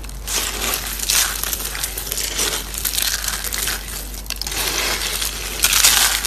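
Blue and pink dried soap flakes are pressed and crumbled by hand. Dense, bright, crisp crunching and crackling rises in waves over a steady low hum.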